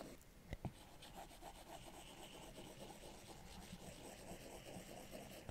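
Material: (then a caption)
Glass. A plastic Apple Pencil tip is scrubbed back and forth in textured shading strokes on the glass screen of a large iPad Pro. Two sharp taps sound near the start, then a quiet, steady, scratchy rubbing continues in quick repeated strokes.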